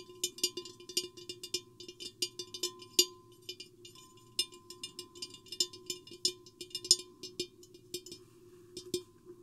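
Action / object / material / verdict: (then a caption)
tap / clear glass vase / glass / none. Long painted nails tap and scratch near the base and sides of a tall, hollow, empty clear glass vase with a microphone inside. Quick, bright, irregular clicks and ticks die away almost instantly. Beneath them runs a steady low hollow hum and a faint thin tone near 1 kHz.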